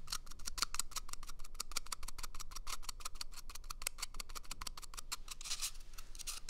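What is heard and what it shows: An empty, hollow brown cardboard toilet paper tube, small in size, is moved between a pair of microphone ears and scratched with fingernails. The result is a rapid, irregular run of dry, bright scratching strokes over a low rumbling background. The strokes are closely packed throughout and smear into a denser rubbing texture near the end.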